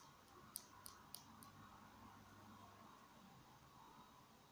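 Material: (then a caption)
Plastic. A small, hollow, capped black plastic marker is held upright in both hands and tapped and scratched along its barrel with fingertips and short nails. Three sharp, bright clicks come in quick succession near the start, followed by soft, faint scratching over a quiet hiss.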